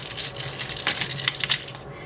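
Dehydrated pepper pieces, dried for 4 hours in an oven at 200°, are moved around in a pan. They make bright, crisp clinking and rattling with sharp transient peaks over a light rustle. The sound shows the peppers are fully dried and crispy.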